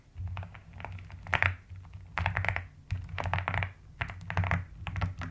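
A white-cased plastic mechanical keyboard with pink and lilac plastic keycaps is typed on steadily by both hands using fingertips and long nails. Irregular bursts of short, clicky keystrokes with bright high edges sit over a constant low hum, with a few louder thunks standing out.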